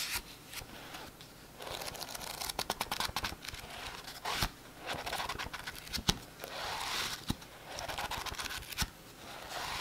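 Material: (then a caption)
Paper. Fingertips and short nails scratch and riffle the page edges and glossy cover of a solid, thick-paper paperback book lying on a map. Quiet, bright papery scratching alternates with rapid sharp ticks and brief flurries of riffling. The sound has little low end and very short ring.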